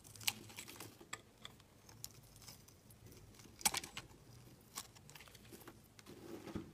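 A utility blade scrapes and shaves a solid green translucent glycerin soap bar, with the shavings piling up on a mat. Quiet, bright scraping and crisp clicking cuts are heard over low background noise, with a few sharper snaps standing out.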